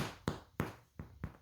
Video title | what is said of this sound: White bread recipe15 years recipe in the making! | flip it out and knock on it. And it sounds hollow to me